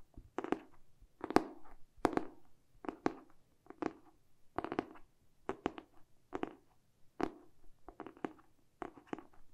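Fingertips and short nails tap and scratch the glossy cardboard back cover of a hardcover book held in both hands. Quiet, dry clusters of quick taps come in an uneven rhythm, each a soft, hollow thud with a bright nail click and almost no ring. Faint scratching fills the gaps between them.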